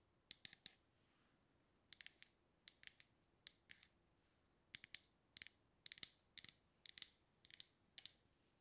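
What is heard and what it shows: Long red-painted nails tap and click on the black lid and sides of a medium dark plastic cosmetic cream jar with a purple label, held in one hand. Bursts of quick, bright, dry clicks come in small clusters, about 25 in all, with one soft brushing swish partway through and a quiet hiss between them.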